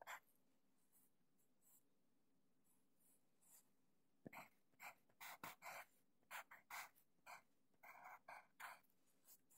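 A sharpened wooden HB pencil writes Japanese characters on a thin, flat sheet of grid paper lying on a desk. The graphite tip scratches across the paper in short, bright, breathy strokes, some faint and then a denser run of louder strokes in the second half, over a quiet low hum.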